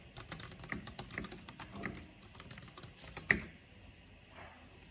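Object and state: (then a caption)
Plastic mechanical keyboard being typed on. Long painted fingernails and fingertips tap rapidly on a full-size black plastic mechanical computer keyboard with a purple backlight and hollow housing. The result is a quick run of light, bright clicks and hollow clacks, with one louder, sharper clack near the end. Each click cuts off almost at once, with a tone around 2 kHz.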